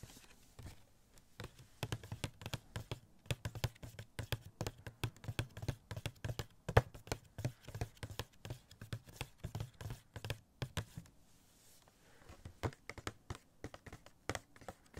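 Fingertips rapidly tap a small hollow cardboard Spider-Man Funko Pop box with a plastic window and the figure inside. Dense, quick, soft taps give a low hollow thump near 110 Hz with faint bright clicks, each dying away almost instantly. The tapping pauses briefly around the eleven-second mark, then resumes.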